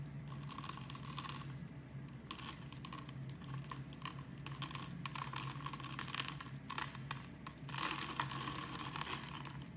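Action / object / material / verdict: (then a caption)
scrape / soap bar scraped with a knife / soap / none. A knife blade scrapes the cubes off a solid, palm-sized, translucent brown bar of soap scored in a grid, and the cubes crumble onto a cloth. The sound is a steady run of crisp, bright crackling and crunching scrapes over a low constant hum, swelling into denser bursts near the end.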